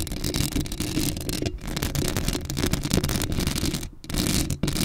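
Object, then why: Metal mesh microphone grille. Long acrylic nails scratch across a black hollow metal mesh microphone grille, making a continuous, close-up rasping scrape with a heavy low rumble and a bright hiss on top. The scratching runs almost without a break, dipping only in a few brief pauses before picking up again.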